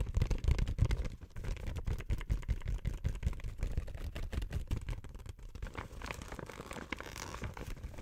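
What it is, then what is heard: Plastic gift bag crinkled and scratched. An empty, flat pink printed plastic gift bag is crinkled in the hands and scratched and rubbed with long white nails. The result is a dense, irregular stream of soft crackles and rustles with a low, muffled body, louder in the first second and softer toward the end.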